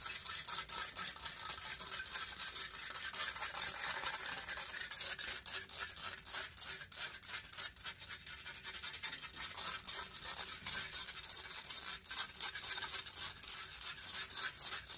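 Long fingernails scratch rapidly across the hollow metal mesh grille of a silver condenser microphone. The result is a dense, continuous, bright scraping texture of fast, irregular strokes with almost no low end, holding steady for the whole clip.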